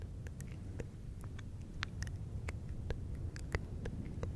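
Fingertips of both hands rub and scratch a fluffy faux fur windscreen on a silver microphone. A dense, low, muffled rumble runs throughout, dotted with brief, crisp, bright scratchy ticks.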